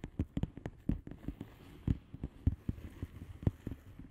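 Long fingernails tap and scratch a flat blue plastic bubble wrap padded envelope with air-filled bubbles. The result is a quick, irregular series of about sixteen soft, dull, low taps that stop almost instantly, with faint scratching in between.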